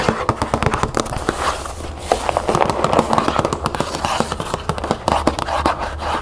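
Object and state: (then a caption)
Cardboard cereal box. Long nails tap and scratch the front and side of a closed cardboard cereal box, first lying flat and then turned onto its narrow side. Quick, dull, papery taps come in dense bursts over a scratchy rustle, with a steady low hum underneath.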